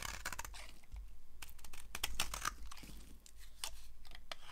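A yellow-handled utility knife shaves and carves a solid green bar of dry soap held in the hand, curled flakes piling up on a grey surface. Quick, irregular strokes of the metal blade make dry, crunchy scraping bursts with a bright, papery hiss. Each stroke stops short with no ring.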